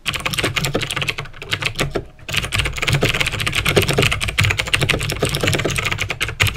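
Painted fingertips type fast on a full-size backlit plastic mechanical keyboard (Razer BlackWidow with clicky green switches) resting on a desk, pressing and tapping the keys. A dense stream of sharp, bright clicks with a low thock under each press runs throughout, with a brief pause near the two-second mark before the rapid typing resumes.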